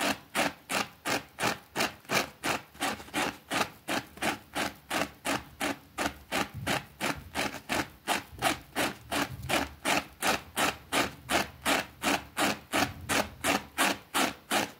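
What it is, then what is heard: Small fabric rug being scrubbed. A white plastic brush scrubs the edge of a small, thin green fabric rug with a rabbit print lying on a concrete floor. About 41 steady, evenly paced strokes (roughly three per second) make a bright, broadband rasping swish, each one fading quickly before the next.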